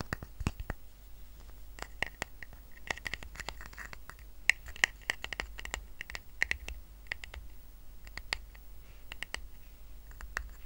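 Fingertips and nails scratch the surface of a small, round, flat woven rattan coaster resting on a blanket. Quick, dry, crackly scratches come in a dense, irregular stream of brief bright ticks over a faint low hum, and each sound stops almost instantly.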